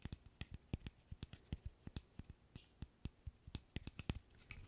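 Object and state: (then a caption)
Wooden burr puzzle. A small, solid, light-wood interlocking stick burr puzzle is held in both hands while fingernails scratch and tap on it. There are 23 quick, dry taps, each a soft low knock with a bright click on top that dies away almost instantly. Faint scratching fills the quiet gaps between the taps.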